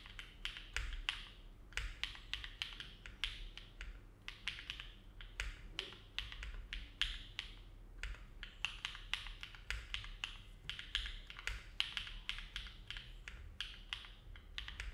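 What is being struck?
Mechanical keyboard with aluminum plate and plastic keycaps.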